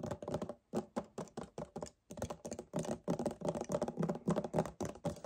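Fingernails tap quickly on and grip near the top of a hollow 1 L white paperboard kefir carton. The result is a fast, irregular run of dull, hollow taps and soft crinkly grips, low and muffled with almost no brightness, each dying out almost instantly. Two brief pauses break the run.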